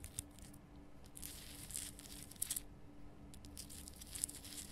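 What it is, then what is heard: Himalayan rock salt lamp. Long painted nails on both hands scratch and tap a large, lit, pink Himalayan salt lamp made of a solid, rough rock-salt crystal. Quiet, dry, bright scratching and crinkly rasps come in bursts, with sharp clicky taps that stop dead, over a faint steady low hum.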